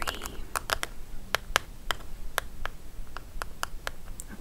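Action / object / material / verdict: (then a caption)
tap / cardboard advent calendar tray / cardboard / none. Long nails tap and scratch the dividers and edges of a large, mostly empty white cardboard advent calendar tray with a compartment grid, lying on a table. Sharp, dry clicks come in an irregular pattern over a faint low rumble, with light scratching between the taps.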